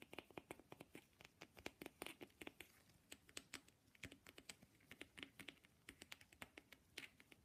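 Fast tapping on an authentic wooden matryoshka nesting doll. Several dozen quick, clicky wooden taps come in an uneven rhythm, each dry and bright with almost no ring. The taps are quiet and close.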